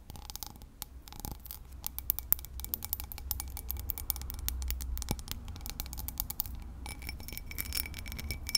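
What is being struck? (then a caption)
Cut crystal tumbler. Long pink nails tap and scratch the base and textured sides of a small, hollow, empty cut crystal whiskey tumbler. Rapid, crisp clicks and bright scratching rasps come in dense bursts over a steady low rumble. Each tap dies away almost instantly with only a faint high glassy ring.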